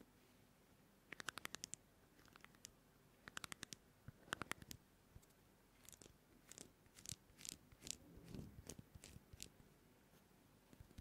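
Fingertips scratch and rub the rough face and edge of a small oval pumice foot scrubber with a porous green-white surface and a white rim. Quick bursts of dry, crisp, bright scratching clicks stop dead with no ring. These give way to softer, grainier rubbing swells before fading to a few scattered scratches.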